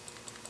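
A loose steel transfer bar safety inside a Ruger revolver chambered in .454 Casull rattles as the gun is handled, making quiet, bright clicking ticks over a faint hiss. The rattle is an unwanted fault, unlike a tight Smith & Wesson revolver that stays silent when shaken.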